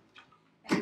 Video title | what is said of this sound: Suction Machine | if you shake it a little bit and you hear it rattle, then you know it's good if it's the plastic one